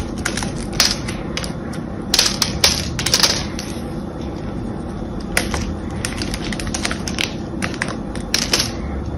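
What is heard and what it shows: A small metal blade scores a solid cream-coloured bar of soap, held in one hand, into a grid of cubes and scrapes them off. Crisp, bright cutting and crushing clicks come in irregular bursts over a steady low rustle.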